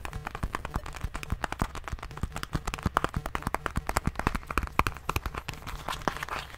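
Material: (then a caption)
Plastic. A small rubbery plastic medicine bottle with a white cap is held in one hand and tapped and squeezed with fingertips and nails. About fifty quick, irregular, dry clicks sound in a close, steady stream, with soft low thumps under them and crinkly squeezing sounds between the taps.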